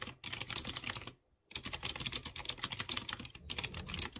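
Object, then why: Mechanical keyboard with round metal keycaps. Fingertips type on a light blue plastic mechanical keyboard with round chrome keycaps over clear-housed blue switches. Rapid, bright, crisp clicking taps come in quick bursts with almost no ring. A short silent pause falls just past the one-second mark.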